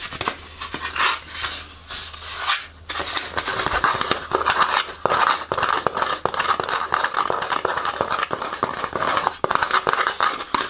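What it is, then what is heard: Foam shoe insole. A small, thin, beige fabric-topped foam insole from a Hoka Clifton 8 running shoe is held in both hands and scratched and tapped with long painted fingernails. The result is a dense run of dry, bright scratching and quick tapping with almost no low end and very short decay.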